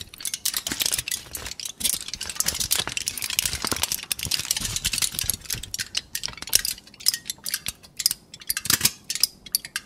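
A thin, loosely crumpled sheet of aluminum foil is held in both hands and crinkled and rubbed with the fingers. The result is a dense, bright crackling of sharp, short crinkles concentrated in the high frequencies, continuous at first and then breaking into more separate crisp bursts toward the end.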